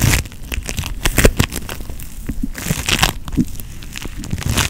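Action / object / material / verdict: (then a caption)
scrape / foam bead putty / foam beads / none. Pink floam putty, made of foam beads in putty, is pinched and squeezed with the fingertips and thumb. It makes a steady run of soft crackling and crinkly popping over a low, muffled squish. Brighter snaps stand out now and then.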